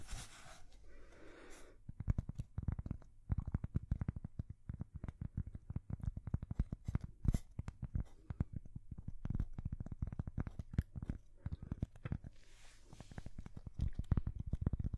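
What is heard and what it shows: A thin, solid square cork coaster is held against the microphones and scratched with long fingernails, making a dense run of short, dry, low thumping scratches with almost no ring. A soft, bright, airy hiss rises at the start and again near the end.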